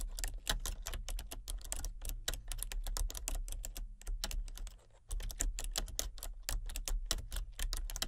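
Long fingernails tap rapidly on the keys of a full-size plastic computer keyboard with a hollow body and color-changing backlit keys. The result is a dense stream of sharp, bright clicks over a steady low hum, with a brief pause in the typing just before the fifth second.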